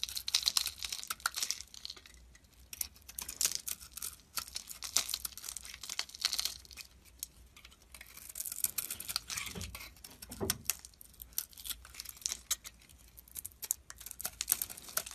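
A hand-sized solid bar of soap, with a red glittery outer layer and a white and red marbled interior, is held in one hand and carved and scraped with a metal box-cutter blade, shavings flaking off. The result is a dense run of crisp, bright scraping and crackling strokes with almost no low end, each one short and dry, with a couple of slightly deeper scrapes near the middle.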